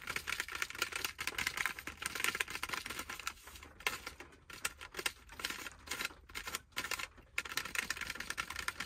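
A granola bar in a partly opened green plastic wrapper, lying on a lap, is tapped and scratched quickly with fingertips. The result is a dense, bright crinkling patter of rapid clicks, with a few brief quieter pauses in the middle.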